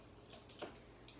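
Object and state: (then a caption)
Jingling coins. A child shakes a handful of coins, producing a light, bright clinking jingle of three quick metallic clinks over a quiet background. The clinks are high and short, fading almost immediately, with a faint extra tick near the end.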